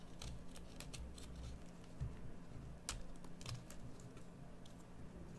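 A metal carving knife carves a solid green bar of soap, making short, dry scraping and crisp clicking cuts with bright edges that die away almost at once. The cuts sit over a steady low hum, and a few stronger strokes stand out.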